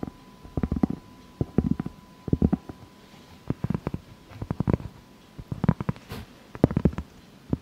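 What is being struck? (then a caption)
Round cork board. Long fake nails tap and scratch the surface of a large, solid round cork board held upright. Quick bursts of short, dull, low-heavy taps and scrapes come in clusters with brief quiet gaps between them, and a faint steady tone sits underneath.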